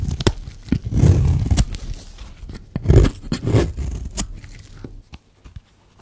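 A metal blade scrapes along the edge of a solid, dry, hand-sized white soap bar, shaving off curls. The scraping comes as low, rough, gritty rasps in short strokes with sharp clicks between them, and it fades to quiet, scattered ticks by the end.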